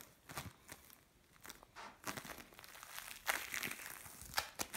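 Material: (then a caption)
Foam beads. Fingers knead and scrunch a mixed lump of blue and orange bead play foam. It gives quiet, bright crinkling and crackling bursts with little low end, over a soft background hush.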